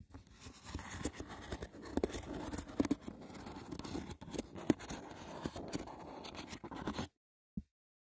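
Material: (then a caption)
Wicker. Dense, rough scratching over the textured woven surface of a wicker basket runs for about seven seconds, with sharp taps and clicks scattered through the bright, crackly scrape. It stops abruptly, followed by a brief silence and one last short tap.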